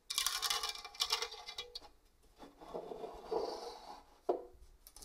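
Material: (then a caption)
Stainless steel. Long orange nails scratch across the fine grating face of a hollow stainless steel box grater, making bright, raspy bursts that soften into a lower, muffled rubbing. A nail then taps the other side of the grater with a sharp, short click that dies away quickly.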